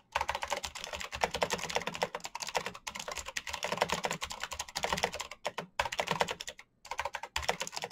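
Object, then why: Plastic mechanical keyboard. Fingertips tap the keys of a black plastic mechanical keyboard with backlit keycaps in fast typing. Dense runs of short, bright clacks with a midrange knock follow each other rapidly, broken by a few brief pauses before the typing resumes.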